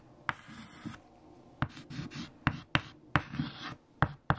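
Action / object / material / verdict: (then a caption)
scrape / chalk on a slate chalkboard / chalk / none. White chalk held in fingertips writes equations on a large flat black chalkboard. Seven sharp taps of the chalk striking the board stand out, with soft scratchy strokes and bright hiss between them. The taps die away almost instantly over a low, quiet background.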